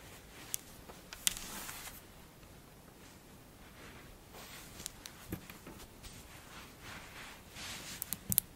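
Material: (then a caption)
Sand. Long-nailed hands squeeze and lift fistfuls from a large pile of pink kinetic sand, which crumbles and falls back onto the pile. Soft, bright, crunchy hissing swells and fades, broken by brief sharp clicks. The sound is quiet and close.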